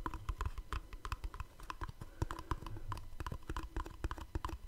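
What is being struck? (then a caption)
Small cardboard box. Fingertips and short nails tap on the surfaces and edges of a small, hollow black cardboard gift box held beside the mic, producing about thirty quick taps. Each tap gives a dull, hollow low thump with a dry click on top and dies away almost instantly.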